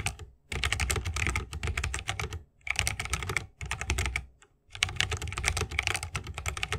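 Fingertips of both hands type continuously on a 60% mechanical keyboard with plastic keycaps and tactile Holy Panda switches, set in a bamboo wooden case. Rapid, dry clacking keystrokes come in bursts separated by brief pauses. Each stroke pairs a deep low thock with a bright click and dies away almost instantly.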